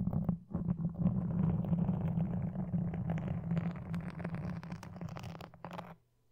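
Wooden toothpicks and dark-painted nails scratch close against a soft, porous black foam windscreen with red dots on a red desk microphone. The result is a dense, muffled, low-heavy rustling and scraping with a steady hum-like rumble, flecked with brief brighter scratches. It runs continuously for about six seconds before stopping abruptly into near silence.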